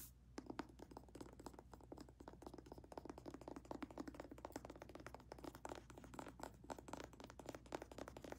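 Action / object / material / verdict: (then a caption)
tap / paperback book with card cover / paper / none. Long red-painted nails rapidly tap and scratch the glossy card cover, spine and paper page edges of a thick, solid paperback novel. The result is a steady stream of quick, dry, short clicks and scrapes with almost no ring, mid-pitched with a faint high edge, over a low, quiet background hum.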